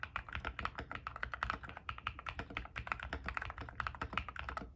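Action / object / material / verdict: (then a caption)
tap / mechanical keyboard with plastic keycaps / plastic / none. A compact 60% mechanical keyboard in a white case with white and grey PBT plastic keycaps and lubed switches, resting on a desk mat, is typed on fast with bare fingertips and a ring on one finger. Rapid, overlapping key presses make a steady stream of short, crisp clacks with a bright midrange click and a soft low thump beneath each stroke.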